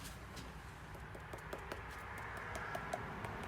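A Flex power tool battery pack is tapped by hand, giving light, dull taps over a steady low background hum. The pack sounds solid rather than hollow like Milwaukee batteries, because it has shock rubber around the entire battery and epoxy holding the electronics together.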